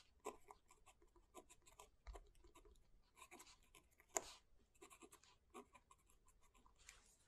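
A fountain pen scratches slowly across the paper page of an open, thick book lying flat, while the left hand flattens the page. Soft, dry scratching strokes with bright, hissy paper texture come in short bursts, with one sharper scratch standing out near the middle.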